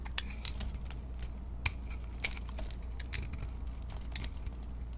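A solid white bar of soap with pink-coated edges, held in the hand, is carved and scraped with a utility knife blade. Dry, crisp scraping and crackling flakes come in quick bursts, with a few sharper ticks as the blade bites. A steady low hum sits underneath throughout.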